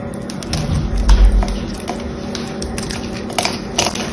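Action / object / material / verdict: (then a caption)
scrape / bar of soap / soap / none. A small knife or blade scrapes and carves into a solid, rectangular, hand-sized green bar of soft soap held in one hand with long yellow-painted nails, flaking off chips. Quick, short scraping and crackling strokes with brief bright edges repeat at an uneven pace over a steady low rumble.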